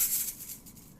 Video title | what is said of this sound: Transition video | i can also flick it with my finger like this but again it's not actually that exciting to listen to